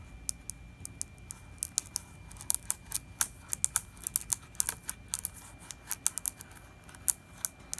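A fingertip and nail tap and scratch across the glossy plastic label of a large 4 L plastic distilled-water jug that looks full. About thirty sharp, dry, bright clicks come in uneven bursts, each dying away at once over a faint hiss and a thin steady tone.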